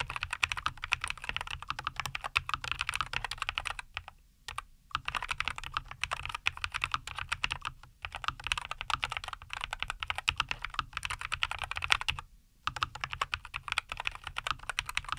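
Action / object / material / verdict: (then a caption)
tap / mechanical keyboard with plastic keycaps / plastic / none. Both hands type continuously with their fingertips on a compact 75% NuPhy Air75 V2 mechanical keyboard with linear Cowberry switches, a white case and green and white plastic keycaps, resting on a wooden desk. Rapid, short, bright plastic clacks come in dense bursts with almost no ring. The typing stops briefly around 4 to 5 seconds and again near 12.5 seconds.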